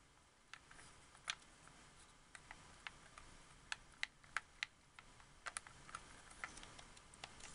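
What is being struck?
Hard plastic game controller.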